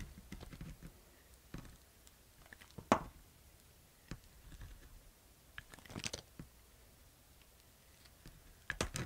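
A solid white bar of soap, held in the hand, is shaved with a utility knife blade, cutting off crunchy slices. Quiet, dry scraping and crunching cuts come in uneven bursts, with a few sharper, brighter cracks standing out.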